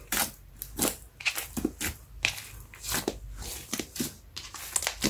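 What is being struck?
Lump of soft slime.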